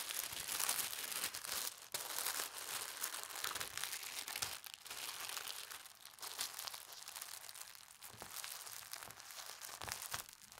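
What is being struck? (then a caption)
Folded tissue paper. A folded strip of pastel-striped tissue paper is lifted, folded, then pressed and rubbed flat by hands with red nails. The result is a steady, bright crinkling and rustling with almost no low end, swelling and easing in soft waves, with a brief dip near the two-second mark.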